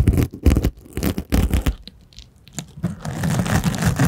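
A small purple rhinestone-covered case, held horizontally in front of the microphone, is scratched and rubbed by small rubber hands worn on the fingertips. Quick bursts of crunchy, scratchy rubbing with a heavy low thump come first, then a quieter stretch of faint ticks, then steady continuous rubbing to the end.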